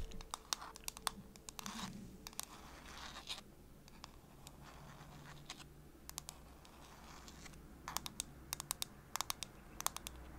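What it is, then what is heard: Plastic phone case. Long pink nails tap and scratch the flat back of a pink and white cow-print plastic phone case with a milk design, held in one hand, while a nearby microphone is left untouched. Sharp, bright clicks come in quick clusters, with softer scratchy rubbing between them over a faint low hum.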